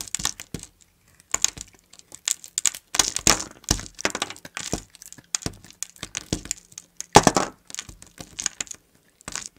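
A blade slices thin curls and cubes from a solid mint-green bar of soap. The result is a steady run of dry, crunchy cuts and crackles, bright and short with almost no ring, separated by brief pauses.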